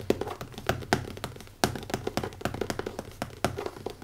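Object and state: Leather-covered hardcover notebook.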